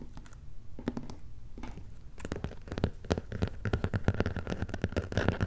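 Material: Cardboard.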